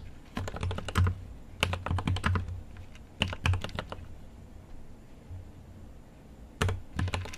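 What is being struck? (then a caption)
Mechanical keyboard with plastic keycaps. Fingertips type in four quick bursts on a GMMK Pro mechanical keyboard with an aluminum case and plastic keycaps. Each burst is a rapid run of short, dry keystrokes with a deep, low thock and bright clicky tops, separated by near-silent pauses.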